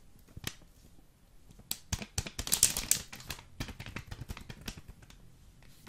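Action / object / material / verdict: tap / foil vacuum-packed coffee bag / foil / none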